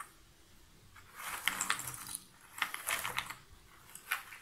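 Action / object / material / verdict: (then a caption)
drop / cardboard jigsaw puzzle pieces in a box lid / cardboard / none. Hands scoop and drop cardboard jigsaw puzzle pieces in a shallow box lid, then scratch through the pile with long nails. Bright, dry clicking and rattling comes in two busy bursts, followed by a smaller clatter near the end, with almost no low end.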